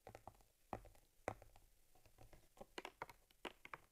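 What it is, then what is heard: Leather camera case. Long nails tap and scratch rapidly along the top leather panel and stitching of a small stitched cowhide leather camera case that holds a camera. The result is a quiet series of short, dry taps with a few sharper knocks and soft scratchy rustles between them, each dying away almost at once.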